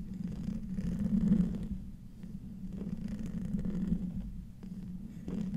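A silver microphone with a hollow metal mesh grille is slowly scratched with the fingertips and nails of both hands. The result is a close, muffled, low rumbling scrape centered around 200 Hz that swells and fades in slow waves, with almost nothing bright above it.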